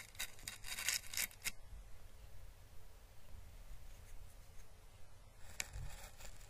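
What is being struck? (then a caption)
Dried papery Chinese lantern husk. A small, hollow, dried orange Chinese lantern husk, a papery plant calyx, is held in the fingers and brushed with paintbrush bristles. A cluster of bright, crisp crackling and rustling strokes fills the first second and a half. A soft low hum follows, then another brief papery crackle near the end.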